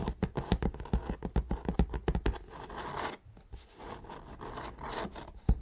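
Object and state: Cardboard box scratched and tapped.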